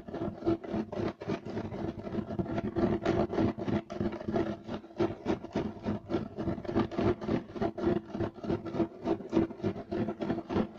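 Both hands scratch a flat, solid, beige striped woven loop-pile carpet with short nails and fingertips. The result is a fast, somewhat uneven run of dry, rasping scrapes, about three to four per second. Each scrape is brief and textured, with a low-mid body and a little high-end hiss.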